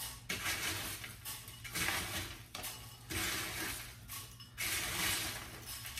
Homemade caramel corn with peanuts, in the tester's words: You can hear how crispy and crunchy it is.